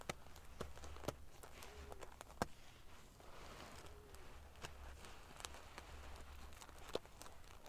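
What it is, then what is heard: Metal-sequin fabric pillow. Fingertips and long fingernails scratch and flick the rows of silver metal pieces covering a large padded pillow. A quiet, steady scratchy rustle is broken by sharp, bright ticks and clicks, over a faint low hum.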